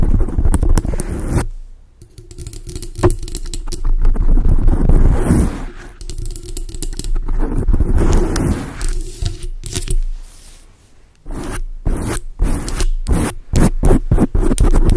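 Long acrylic nails on both hands rapidly scratch a large dark grey foam windscreen on a microphone, making dense, muffled, bass-heavy scratching and rustling. The sound comes in sustained stretches separated by brief quieter lulls near 2 and 10 seconds. It ends in a run of quick, choppy bursts with short silences between them.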